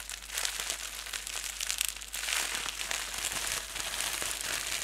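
A ball of clear plastic bubble wrap held in both hands is crumpled and rubbed with the fingertips and thumbs. The result is a continuous, dense, bright crinkling with many sharp little crackles and almost no low end, holding at a fairly steady level throughout.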